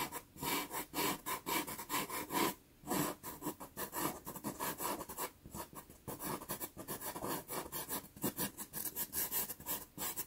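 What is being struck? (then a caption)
Pastel pencil on a sanded pastel paper card. A black pastel pencil makes quick, fur-like hatching strokes on a small, taped sienna Pastelmat card. Short, dry, scratchy rasps repeat unevenly at about two per second, with bright, hissy texture and brief pauses between bursts. Each stroke stops cleanly, with no ring afterward.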